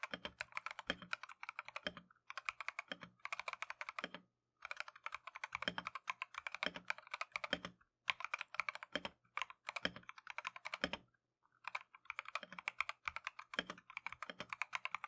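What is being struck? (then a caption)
Mechanical keyboard with plastic keycaps. Gloved fingertips type continuously on a compact Keychron V1 mechanical keyboard with Tangerine switches and green and white Matcha plastic keycaps. Rapid, bright, crisp key strikes come in dense bursts separated by brief pauses, each hit short and dry, with a faint low hum underneath.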